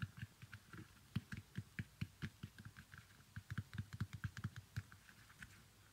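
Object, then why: Small leather sandal. Fingernails scratch and tap on the upper and stitched sole of an empty, small leather baby sandal with a strap. The result is a quick, irregular patter of soft, dull low taps, each with a faint bright click and very short decay, about thirty in all.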